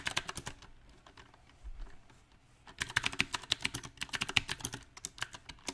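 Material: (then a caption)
Plastic. Both hands type with their fingertips on a compact backlit mechanical keyboard with round plastic typewriter-style keycaps. Bright, short key taps come in an uneven rhythm, thin out into a near-quiet pause in the middle, then return as a denser, louder run of clacks.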